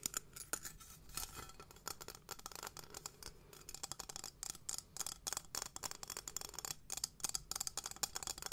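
A small, hollow, gold-toned textured metal cylinder container, held sideways in both hands, is tapped and scratched along its surface with long nails. It makes rapid, crisp clicks and bright, scratchy rasps that die out almost instantly, all quiet and high-pitched with very little low end.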